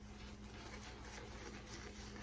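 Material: Nothing is struck.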